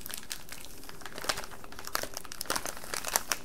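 A full, flexible plastic candy bag of sour straws is held in both hands, crinkled and rubbed with the fingertips. A steady bed of soft, dense crinkling is broken by sharper, bright crackles that stand out at irregular moments.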